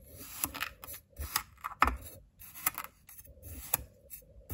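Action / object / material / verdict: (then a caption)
scrape / kinetic sand in a small glass bowl, scraped with a ceramic knife / sand / none. A white ceramic knife digs and scrapes through blue kinetic sand in a small clear glass bowl held in one hand, crumbling the sand. Gritty, crunchy scraping and soft crumbling come in bursts, with sharp bright clicks where the blade catches the glass or sand and brief quiet gaps between strokes.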